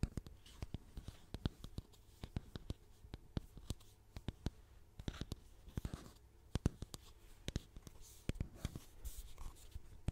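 Long painted nails scratch and tap the printed label of a medium orange plastic styling cream bottle with a white top, its cap removed and hollow inside. Quick, dry clicks and taps come in uneven bursts over a soft scratching hiss, each tap stopping almost at once.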